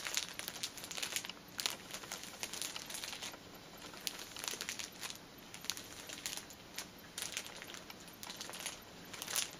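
A cellophane-wrapped pack of paper pocket tissues, a plastic-film-wrapped stack of filled tissue packets, is pressed and crinkled by fingertips and nails, and then the pack is lifted by the hands. The result is a steady stream of bright, dry crackles and crinkles with short sharp peaks and almost no low end or ringing.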